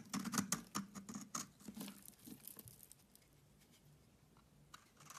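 A utility knife blade shaves curls off a solid oval bar of soap with a green rind and a pale yellow inside, held in the hand. Quick, crisp scraping cuts with a soft low body and bright edges come in a fast, uneven run for about three seconds. The sound then fades to near silence, with a faint scrape returning at the end.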